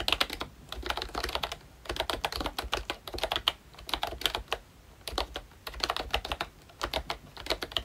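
A full-size ROYCHE Disney Mickey Mouse retro membrane keyboard with round plastic keycaps is typed on continuously with the fingertips of both hands. Rapid bursts of bright, dry plastic key clacks, centered around 3.2 kHz, come with brief pauses between runs, and each tap stops almost instantly.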